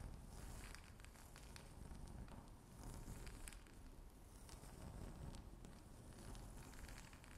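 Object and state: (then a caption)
Stone-look tabletop scratched with nails. Long natural nails with white tips scratch and tap repeatedly on a flat, solid, speckled grey-brown stone-look tabletop. The quiet, continuous scratching has a crackly, rustling texture over a low rumble, with faint bright ticks from the nail taps that die away almost instantly.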